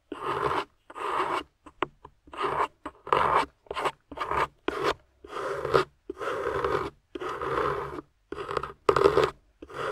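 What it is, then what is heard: Plaster dig block being scraped. A small metal scoop tool scrapes a solid grey plaster dig block with carved ridges and a yellow plastic fossil inside. The result is a series of short, dry, rasping strokes in the midrange, each separated by brief silences, with no ring after each stroke.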